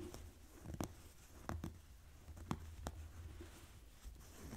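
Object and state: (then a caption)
Denim jeans. Fingernails scratch and rub folded blue denim jeans lying on a table. Seven short, sharp scratches stand out over a quiet, low, rustling fabric texture.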